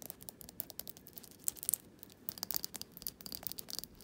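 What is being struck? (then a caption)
Small glass jar candle with wax. Fingernails tap and scratch the glass sides and rim of a small glass jar candle filled with solid wax. The result is a quiet, rapid series of crisp, bright clicks and scrapes that stop dead with no ringing, over a faint scratchy hiss and almost no low end.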